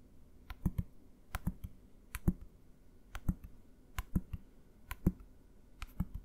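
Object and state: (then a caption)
Plastic bottle tapped. A medium green translucent plastic bottle with a label, hollow and partly filled with liquid, is held upright and tapped with the fingertips and nails. An irregular series of quiet, short taps gives each a dull low knock with a sharp bright click on top. Each tap dies away almost at once.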